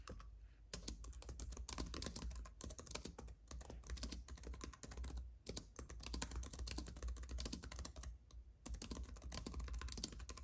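Both hands type with their fingertips on a slim white computer keyboard with plastic keys on a silver aluminum base, with a paintbrush lying unused nearby. Fast, crisp, bright key clicks come in dense bursts with brief pauses, each tap dying away almost instantly. A steady low hum runs underneath.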